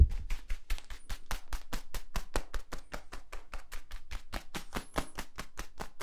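A hollow, yellow, ribbed plastic tube is held upright and compressed while fingertips scratch and squeeze its ridges. The result is a rapid, steady run of short, dry scratching clicks with a dull low thump under each stroke and almost no ring.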